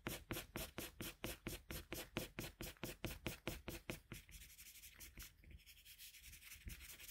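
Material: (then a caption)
Paper. A red colored pencil in a metal pencil extender, held in the fingertips, shades back and forth across a flat white sheet of drawing paper on a desk while coloring Kirby. For about four seconds, quick, regular scratchy strokes sound with a soft papery hiss and a bright edge, then they blend into a quieter, continuous rubbing.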